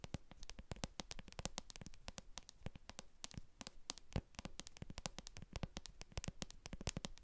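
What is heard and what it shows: Long acrylic nails tap and scratch the bottom of a translucent plastic jar full of white cream, with a barcode sticker on its base. Quiet, rapid, irregular clicks ring out across the whole clip, each sharp and bright with a dull low body and almost no ring. Soft scratching fills the gaps between them.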